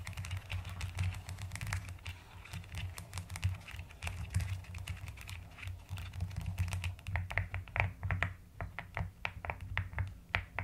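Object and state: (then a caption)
Plastic mechanical keyboard being typed on. Steady typing with fingertips and long nails on a mechanical keyboard with a white case and pastel plastic keycaps. The keys give a rapid run of short, bright clicks with almost no ring, over a steady low hum.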